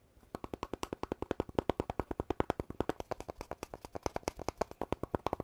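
Fingertips and nails tap and rub along a long, hollow red poster tube, apparently paper-covered cardboard, with a gold rim near the end and a telescoping cap, held in one hand and seemingly empty. About 49 quick, evenly paced taps give dull, hollow knocks centred around 375 Hz, each dying away almost instantly. The taps are fairly quiet with little high brightness.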